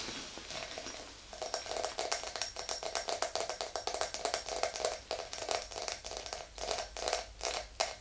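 Long green nails tap rapidly on the sides of an empty, tall, clear glass tumbler. The hollow glass gives a steady stream of short, bright clicks, each with a brief ring around 680 Hz that dies away almost at once. The tapping comes in uneven bursts over a quiet background.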